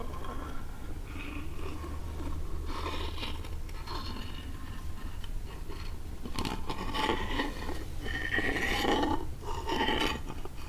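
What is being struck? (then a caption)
Small lacquered wooden box scraped with a quartz crystal. A small rectangular wooden box, likely hollow, with reddish-brown lacquered sides and a gold-leaf top is held in the hands and scraped and tapped with the point of a clear quartz crystal. Irregular raspy scrapes and light taps sound over a steady low rumble, with brief ringing tones growing louder in the second half.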